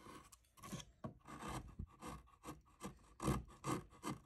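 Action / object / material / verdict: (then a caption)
scrape / cottonwood bark carving worked with gouge and knife / cottonwood bark / none. A steel gouge and knife, held in the fingers, scrape and cut the surface of a solid cottonwood bark relief carving of a face mounted upright. About twelve short, raspy scraping strokes come in an uneven rhythm, with dull low body and quick, dry decays.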